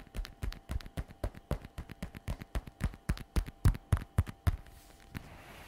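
Long red nails tap quickly on the shiny flap of a glossy black patent faux leather messenger bag lying flat. The rapid series of short, dull taps is low and soft, with no ring. The tapping stops near the end, leaving only a faint hiss.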